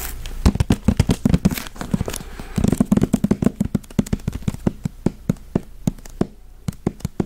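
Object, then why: Hardcover paper book. A thick, solid hardcover book with a cardboard cover and paper pages is held in the hands and tapped on the cover and spine with the fingertips and nails. Short, dry taps give a low hollow thump with bright nail clicks, coming in quick busy flurries at first and then spacing out into slower, evenly separated taps.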